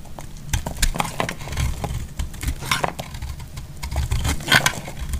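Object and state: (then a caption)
Bar of soap being shaved. A solid, hand-sized green bar soap is held in the hand and shaved with a metal utility blade, so flaky curls fall off. The clip is a run of short, crisp scraping and cutting strokes with quick, bright crackly edges over a low, dull background. Each stroke dies away almost at once.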